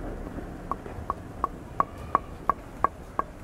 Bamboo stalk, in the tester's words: You can hear how hollow it is.